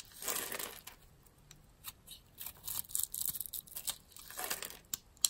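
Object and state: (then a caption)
Bar of soap being scraped and cut. A metal blade scrapes cubes and thin slices off a solid, light-green, rounded, palm-sized bar of soap held in the hand. Quiet, dry, bright scraping and crinkly crunching come in a series of short bursts, with a longer rasping stroke at the start and another near the end.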